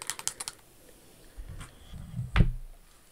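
Long acrylic nails tap and scratch the rhinestones on a single pink Jimmy Choo high-heel pump, which is covered in crystals and has a pink crystal bow on the toe. A quick run of sharp, bright clicks at the start gives way to quieter, low rustling scratches, ending in one louder, duller knock.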